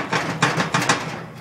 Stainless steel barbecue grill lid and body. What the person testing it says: hear a little bit of movement in the lid but we don't hear the massive rattling